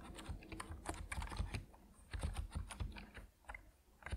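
Both hands' fingertips type on an Epomaker NiZ Plum Atom 68, a 68-key compact mechanical keyboard with white and purple PBT plastic keycaps, resting on a wooden desk. Quick bursts of short, dry keystrokes have a deep, muted thock with a light bright clack on top. The typing pauses briefly twice before resuming.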